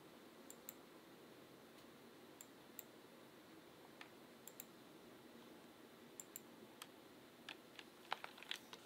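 Fingertips type at a slow, uneven pace on a backlit Asus ROG Claymore II mechanical gaming keyboard with RX Blue switches and plastic keycaps. Sharp, bright clicks stand out above a steady low hiss, with a quicker cluster of keystrokes near the end.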